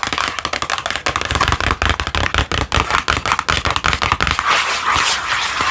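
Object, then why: Small printed cardboard box. A small, hollow, green printed cardboard product box held in one hand is tapped and scratched on its flat faces with long acrylic nails. Quick, uneven, dry clicking taps blend with papery scratching, each tap dying away almost at once with a faint hollow thump underneath.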